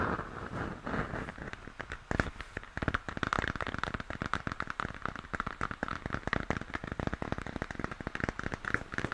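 A hollow plastic moon lamp, base turned toward the listener, is tapped and scratched by fingertips on its shell. Dense, rapid clicks and crackling taps run throughout over a soft scratchy hiss, with short dry hits and a faint low thump beneath.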